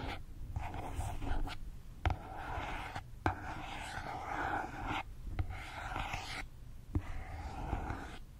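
A small rectangular white cardboard box with a printed label is held horizontally in front of the mic and tapped and scratched with fingertips and nails. Soft, continuous scratching and rustling sit over a low, muffled rumble, broken by five short, sharp taps that die away almost at once.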